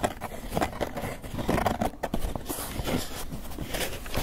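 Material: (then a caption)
Polystyrene foam. A small, white polystyrene foam clamshell takeout container, closed, hollow and apparently empty, is held in both hands and tapped and scratched with long fingernails and fingertips. Quick, dry taps with a hollow, squeaky tone around 600 Hz mix with brushy scratching. The sound stays fairly low and muffled, with little bright content and almost no ring after each tap.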